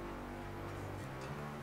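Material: Nothing is struck.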